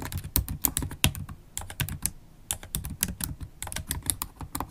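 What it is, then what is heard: Laptop keyboard being typed on. Long acrylic nails type steadily on a MacBook Pro keyboard with black plastic keycaps set in a silver aluminium body, tapping with nail tips and fingertips. About twenty-two short, bright clicks come in quick uneven runs, each with a soft low thump beneath and almost no ring, separated by brief pauses.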